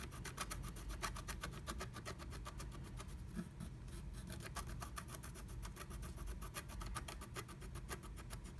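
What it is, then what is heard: Scratch art paper being scratched. A wooden stylus scratches a black-coated scratch art card inside a small heart cutout of a blue plastic stencil. A steady run of quick, rhythmic scratching strokes gives a bright, raspy texture over a constant low rumble, easing briefly midway before picking back up.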